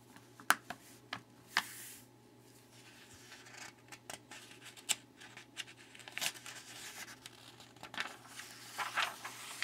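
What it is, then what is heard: Glossy paper magazine pages. Fingertips rub the surface of an open glossy paper magazine lying flat on a wooden table and turn a page, giving soft, bright rubbing and crinkling sounds. Sharp, quick paper clicks and swishes stand out from a quiet, low background hum.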